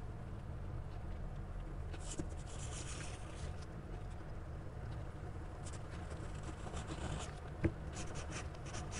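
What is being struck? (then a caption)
Graphite pencil on a paper sketchbook page. A gloved hand draws with a black graphite pencil on a spiral-bound paper sketchbook lying flat on a table, the pencil tip scratching across the page in strokes. Soft, bright scratching bursts come and go over a steady low rumble, with two brief sharp ticks standing out.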